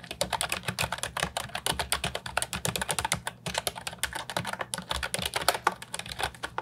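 Fingertips type continuously on the round keycaps of an Ajazz 308I, a brown and white plastic retro mechanical keyboard with a hollow body, resting on a wooden desk. A fast, steady stream of short, bright plastic clacks is heard, each dying away almost instantly over a soft low thump.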